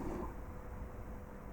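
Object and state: Nothing is struck.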